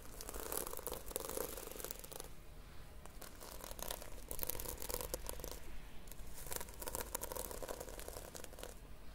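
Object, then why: Sequin-covered notebook with plastic sequins. Long painted nails and fingertips rub and scratch across the plastic sequins of a red sequin-covered notebook held in one hand. The result is a steady, dry crinkling and crackling texture with bright ticks, easing slightly in the middle before picking up again.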